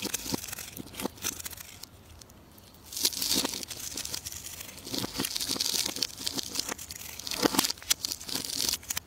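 A solid, rounded, translucent orange bar of soap held in the palm is shaved and carved with a metal knife. The blade makes dense, bright, crackly scraping and crisp tearing crunches, with sharp flaky clicks. There is a brief quieter lull near the two-second mark before the cutting picks up again.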